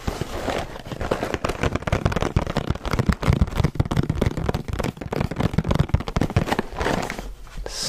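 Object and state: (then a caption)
Cardboard box of crackers. Fingertips and nails tap and scratch the front of a medium-sized red Cheez-It cardboard box with crackers inside. The result is a dense run of short, dry taps and scratchy crackles with a dull, low body, plus brief brighter scraping toward the end.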